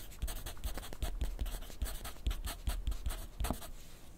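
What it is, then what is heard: Pencil writing on paper. A wooden graphite pencil writes continuously on a sheet of lined paper clipped to a flat clipboard on a wooden desk. The pencil tip scratches across the paper in quick, uneven strokes, each one a brief bright rasp over a soft, low thud. The writing keeps a steady, close, dry rhythm.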